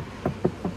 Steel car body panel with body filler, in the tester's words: Pag kinatok mo, para na siyang may palaman.